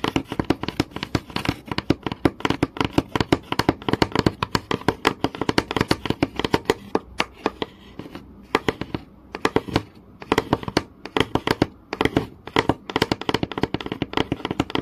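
Fingernails tap rapidly and scratch across a flat, solid wooden board with visible grain. The result is a dense stream of short, dry clicks with very little ring, centered around a low-mid tone near 320 Hz, with a few brief pauses in the pattern.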